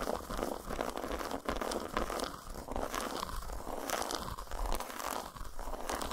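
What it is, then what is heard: Dark chocolate bar. Long nails tap and scratch the squares of a solid, segmented dark chocolate bar lying flat on a towel. The result is a fast, dense run of crisp, crunchy scratching and tapping at a fairly steady level, with short bright clicks over a soft low rumble.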